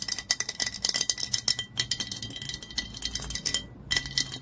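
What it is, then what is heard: Glass olive oil bottle. Long nails tap rapidly on the body of a dark glass olive oil bottle lying on its side, near the label. The taps are quick, bright and clicky with almost no ring, and a faint steady glassy tone runs underneath. There is a brief pause near the end before the tapping resumes.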